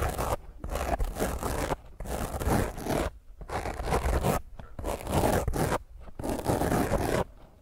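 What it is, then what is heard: Foam microphone windscreen scratched. Long painted fingernails of one hand roughly scratch a small, rounded black foam windscreen covering a microphone head. The result is bursts of dense, crackling scrape with a heavy low rumble, separated by brief quiet pauses.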